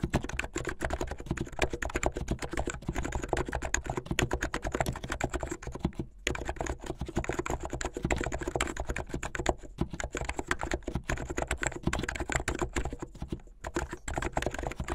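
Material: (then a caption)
Plastic. Fingertips with medium-length painted nails type fast on a plastic mechanical keyboard with white and blue plastic keycaps. A dense, steady stream of short, dry clacks with a low, solid body keeps going, broken only by brief pauses around six and thirteen and a half seconds.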